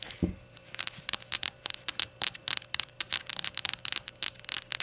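Long gold nails tap and scratch the white unglazed ceramic base of a small rainbow shot glass with printed text, its base facing outward. The result is a quick, irregular run of sharp, bright clicks and short scratchy rasps with almost no low end. Each click dies away almost instantly.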